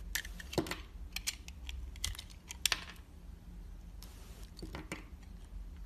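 A utility knife blade slices and shaves curved strips from a solid bar of soap with a red outer layer and pink inside, held in the fingers. Short, crisp clicking cuts and bright scraping rasps come in quick irregular bursts, with a longer soft shaving hiss near the end, over a steady low background hum.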